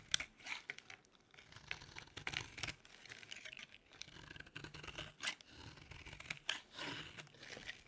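A solid, dry yellow oval bar of soap held in the hand is carved and crumbled with a metal blade. Quiet, bright scraping and crunching cuts repeat in short, irregular bursts with crumbly crackling in between. The soap breaks away in dry flakes and pieces.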